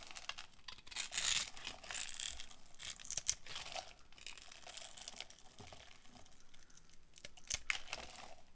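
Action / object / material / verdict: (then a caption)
scrape / bar of soap carved with a metal blade / soap / none. A metal utility-knife blade carves a solid rectangular bar of dried green soap with a grid-scored surface, held in a hand with long nails, shaving off crunchy crumbs. Dry, bright crackling and scraping crunches run throughout, swelling into a dense burst early on, with sharp cracks standing out near the middle and toward the end.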